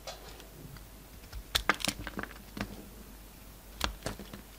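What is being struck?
Soap bar cut with a knife blade.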